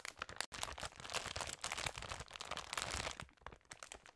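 A large glossy plastic Haribo sharing bag, full of smaller candy packs, is held in the hands and turned and squeezed, so the plastic crinkles under the fingers and long nails. The crinkling is dense, bright and crackly, with a brief silent break near the start. It grows quieter and sparser toward the end.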